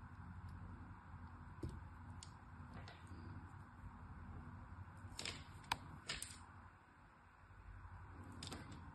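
A solid striped pink-and-white soap bar is cut into small pieces with a metal blade, giving several short, crisp scraping snaps with bright high edges. The cuts stand out over a steady low background hum.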